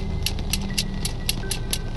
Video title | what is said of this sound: Terungkap! Ki Prana Lewu Buktikan Sosok Dibalik Misteri Ketukan Pintu Bikin Duit Hilang di Karawang! | Kalau pager yang terbuat dari besi lalu kita ketok-ketokkan besi dengan besi akan menghasilkan suara seperti itu.